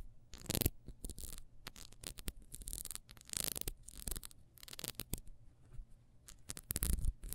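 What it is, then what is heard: Ribbed wax candle scratched. Long nails scratch and rub quickly across the ridged surface of a small, solid, ribbed wax beehive candle. Bursts of dry, bright, rasping scratches come in fast, uneven runs over a faint low hum.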